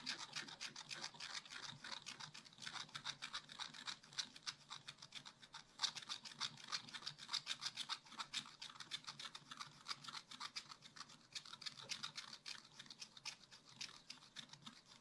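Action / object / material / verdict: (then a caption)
scrape / wax-coated scratch-art paper scratched with a wooden stylus / coated paper / none. A wooden stylus scratches densely back and forth across a black wax-coated scratch-art paper page in a spiral-bound pad, filling in a tree shape. The result is a steady stream of quick, dry, bright scratching strokes, about three to four per second and slightly uneven, with almost no low end and no ring after each stroke.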